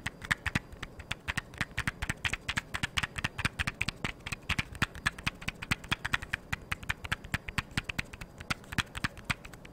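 A small, hollow, blue cardboard matchbox is held in one hand and tapped and scratched with long, yellow-painted nails. About 67 quick, dry taps with almost no ring sound bright and clicky, peaking around 1.7 kHz. Faint scratching fills the gaps between them.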